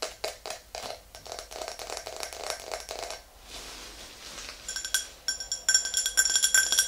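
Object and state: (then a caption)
Clear drinking glass tapped with fingernails. Long green nails tap the sides of an empty, tall, clear glass tumbler, making quick, clicky taps with a hollow midrange body. After a brief softer, rubbing stretch, louder taps bring out bright, ringing glass tones near 1.5 kHz that hang briefly between strikes.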